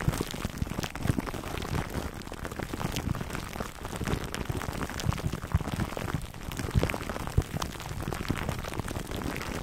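Fingertips scratch the crinkly clear plastic wrap around a foam microphone cover, close to the microphone. The result is a dense, continuous rustle of short crackling clicks, heavy and muffled in the low end, with brief bright snaps throughout.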